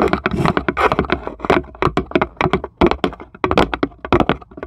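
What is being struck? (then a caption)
Thin plywood tray. Long pointed acrylic nails on both hands tap rapidly on the flat base of a small, light plywood serving tray with cut-out handles, empty and hollow underneath, while a small marble sits still in one corner. The taps are quick, dry clicks and knocks with a hollow, woody body around 355 Hz and almost no ring. They come in an uneven, continuous patter.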